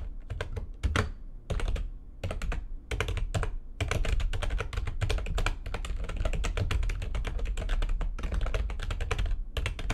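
A full-size, low-profile, backlit plastic computer keyboard resting on a desk is typed on quickly, its keys struck by fingertips with long nails. Rapid, dense bursts of sharp, bright clicks ride over a heavy low thud, broken by a few brief pauses and settling into a steady flurry of keystrokes.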